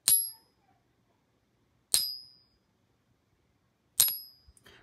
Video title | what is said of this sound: A Fake Walking Liberty Half Dollar from a REPUTABLE SOURCE? Uh Oh! | there's no ring it's just completely dull it dies out